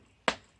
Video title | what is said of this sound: Making Wood Fired Sourdough Bread | tap the bottom, and you want to get a nice sort of hollow sound. That sounds pretty good to me.